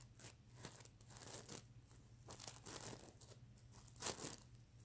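Fingernails scratch and a hand rubs over the plastic sequins of a sequin-covered stuffed mermaid unicorn pillow. The result is a run of bright, crinkly, tearing-like rasps in uneven bursts over a faint steady low hum, with the loudest swipes near the middle and toward the end.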